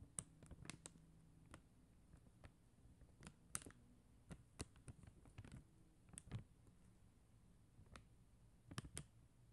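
Long acrylic nails tap on a flat sheet of faceted plastic rhinestone gem stickers on a white backing. The taps are quiet, sharp, dry clicks with a bright high edge, scattered at an irregular, unhurried pace. They sound over a faint low background hum.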